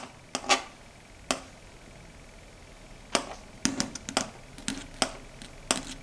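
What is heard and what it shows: Long red stiletto nails tap and scratch a large, flat, dark gray solid chalkboard. Sharp, bright clicks with brief scraping come in scattered bursts, some spaced apart and others in quick clusters, each dying away almost at once over a quiet, faint background.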